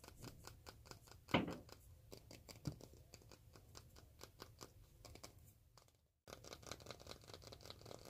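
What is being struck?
Roll of cloth-backed duct tape.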